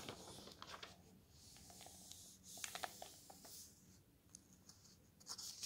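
Fingertips lift and turn the thin glossy paper pages of an open softcover guidebook, and the pages flutter. Quiet, bright papery rustles and slides run throughout, broken by short crisp flicks and flutters as each page moves.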